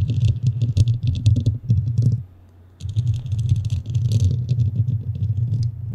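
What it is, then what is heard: Foam microphone windscreen being scratched. Long nails on both hands scratch a large, soft, porous black foam windscreen covering a hollow standing microphone head. The result is a dense, booming low rumble layered with bright, crackly clicks. It breaks off into near silence for about half a second, then resumes just as thick.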